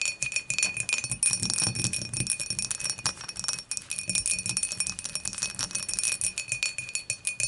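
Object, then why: Glass beer mug. Long matte nails tap rapidly and continuously on the dimpled wall of a clear, empty glass beer mug lying on its side. The taps give a dense stream of bright, glassy clicks with a faint ringing tone near 2.5 kHz that dies away almost at once after each tap.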